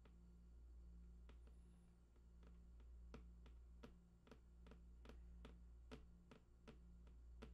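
Fingertips tap the right side edge of a large, hollow, printed cardboard PlayStation 4 box with unknown contents. The result is a series of soft, short, dry clicks at an uneven pace over a low, steady background hum.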